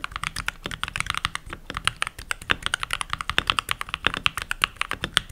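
Fingertips with short nails and rings on the fingers type continuously on the pink plastic keycaps of a full-size backlit mechanical keyboard. A rapid stream of dozens of bright, dry plastic clacks follows, each cut off sharply with almost no ring and very little low end.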